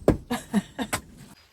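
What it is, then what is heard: Hollow thin wooden door. Knuckles knock five times on a thin, stained wooden door of pine or plywood with tongue-and-groove panels stuck on both sides. The knocks are short, dull, and low, with almost no ring. They sound hollow, marking the door as insubstantial and fit to be painted.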